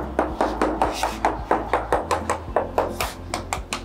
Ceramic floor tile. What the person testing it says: this is hollow. You can make some noise different. These are the hollow tiles.